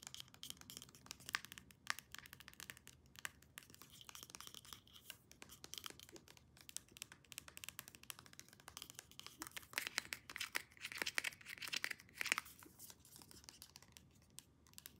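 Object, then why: Hollow plastic pump bottle. Long nails rapidly tap and scratch a hand-sized, hollow white plastic Olaplex No.9 hair serum pump bottle with a clear plastic cap. The result is a quiet, dense flurry of short, bright plastic clicks and scratchy rasps with almost no low end and no ring after each tap.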